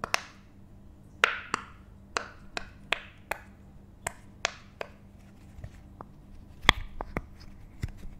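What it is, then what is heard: Silicone pop it fidget toy. A hand-sized, rainbow bottle-shaped silicone pop it fidget toy with thin, hollow, empty bubbles is held in one hand and tapped and pressed with the fingertips and nails of the other. This produces a string of sharp, dry, bright pops and clicks spaced irregularly apart. Each one dies away almost instantly over a faint low hum.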